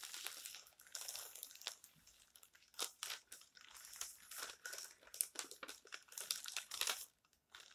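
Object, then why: Glossy paper magazine pages. Fingertips and palms rub, smooth flat and turn the thin coated glossy pages of a large open printed magazine lying on a stack on a table. The result is soft, bright rustling and crinkling with almost no low end, in irregular bursts and brief pauses. It drops to near silence just before the end, then a final light rustle.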